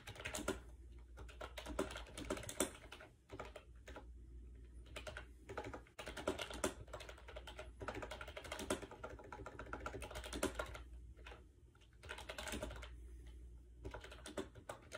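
Fingertips type quickly on a compact gray plastic AJAZZ 308i wireless Bluetooth keyboard with round white keycaps, resting on a bed. The hollow plastic keys give dense, short clacky taps in bursts with brief pauses, over a steady low hum.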